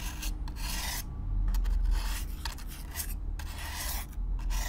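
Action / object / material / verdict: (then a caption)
scrape / corrugated cardboard box / cardboard / none. A stiff black-bristle brush is stroked back and forth across the surface of a hollow brown corrugated cardboard box, close up. Each stroke makes a bright, raspy scratching burst over a steady low, hollow rumble, in an uneven rhythm of quick brushing passes.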